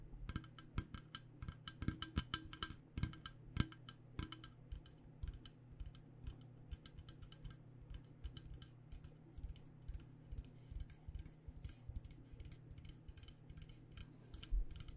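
Long dark nails rapidly tap a hollow, purple powder-coated Klean Kanteen insulated stainless steel water bottle of about 0.5 L with a black cap. The result is a dense stream of short, dry clicks with bright tops that die out almost instantly. A steady low hum runs underneath throughout.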